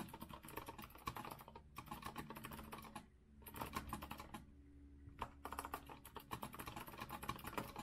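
Both hands type continuously with their fingertips on a compact retro Azio mechanical keyboard, which has a rose-gold metal frame and round plastic keycaps and sits on a wooden desk. Dense, crisp clacking runs in bursts, with two brief pauses about a third and two-thirds of the way through, over a faint steady low hum.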